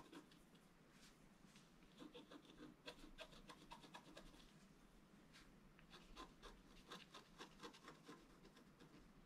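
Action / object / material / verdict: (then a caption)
scrape / wax-coated scratch art paper card scraped with a wooden stylus / coated paper / none. A wooden stylus scratches fine lines along a gate design on a flat, black-coated scratch art card lying on a table. The clip is a quiet, continuous run of dry, raspy scratching with short bright bursts from each stroke and a low steady hum underneath.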